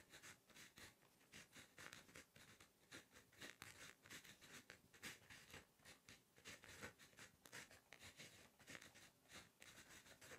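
A plastic Inkjoy 0.5 ballpoint pen, held in the fingers, writes Korean text on a lined page of a spring notebook lying flat on a solid surface. The result is quiet, bright pen-tip scratching on paper, heard as a steady run of short, dry strokes with very little low end.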